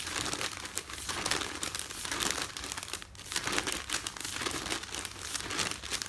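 Fingers and nails crinkle, fold and rub a folded stack of newsprint with a printed insert page on top. A steady, dense, bright crinkling and rustling runs throughout, with quick crisp crackles and brief swells as the paper is folded.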